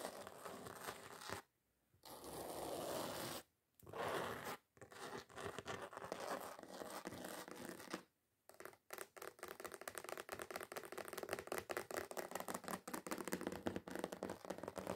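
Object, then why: Glitter-coated foam craft sheet. Long acrylic nails scratch a flat, solid, red glitter-coated foam craft sheet lying on a table, making dry, gritty scraping strokes broken by short silent pauses. After about eight seconds the nails switch to fast, rapid-fire tapping and scratching, a dense run of bright, crisp clicks over a steady rasp.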